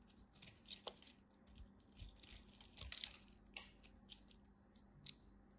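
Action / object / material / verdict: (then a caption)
scrape / bar of soap scraped with a knife / soap / none. A knife scrapes and cuts along the edge of a dry, solid purple striped bar of soap, shaving off crisp flakes. Quiet, bright scratchy rasps and short crackling ticks come in irregular bursts with almost no ring.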